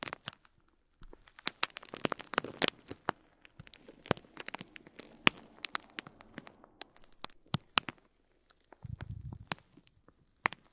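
A fingertip presses and rubs a bundle of small white plastic faux pearls wrapped in clear plastic film, resting on cloth. The film gives quiet, scattered crinkles and sharp, bright crackles with almost no ring, plus a brief low rumbling rub near the end.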